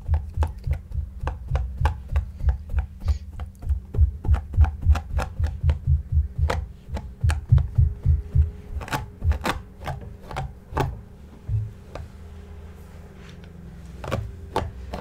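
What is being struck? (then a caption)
Stuffed shaggy yarn cushion. A large, soft, stuffed, shaggy light-grey yarn cushion is brushed with a white flat brush while the other hand holds it steady. The brushing strokes come quickly, roughly three a second, as dull, low, muffled swishes with short bright scratchy edges over a faint steady hum. After about eleven seconds the strokes thin out and fade to a quieter close.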